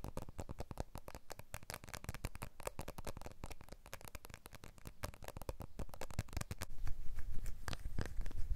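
Fingertips and short nails rapidly tap and scratch the glass back and aluminium frame edge of a small, solid blue iPhone 12 with the Apple logo showing. The result is a dense, irregular patter of short, dry clicks and scratchy strokes that die away almost instantly. The tapping grows louder toward the end.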